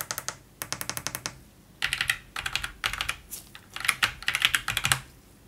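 A gloved fingertip taps the media keys, volume area and numpad keys one at a time on a white Roccat Vulcan 122 AIMO mechanical gaming keyboard with plastic keycaps on an aluminium plate. The result is bursts of short, bright, crisp clicks with very little low end, separated by brief quiet pauses.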